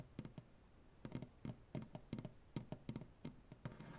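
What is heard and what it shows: Fingernail tips tap and scratch on a solid maple butcher block tabletop as the fingers spread and curl. Quick, soft, low wooden knocks come in irregular clusters with very short decay, while faint scratching fills the gaps between them.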